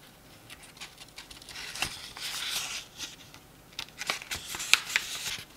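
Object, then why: Paperback book pages. Fingers riffle, flip and rub the paper pages of a small open paperback book. Soft, dry rustling swells into a longer papery brush, broken by several sharp, bright page flicks. The sound is almost entirely high and crisp, with no low body and no ring after each snap.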